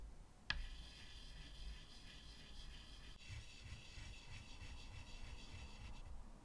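White chalk scratches in short strokes across a medium flat chalkboard with a wooden frame, drawing at the right side. A single sharp tap at the start gives way to a steady, bright scratching texture with a faint low hum underneath.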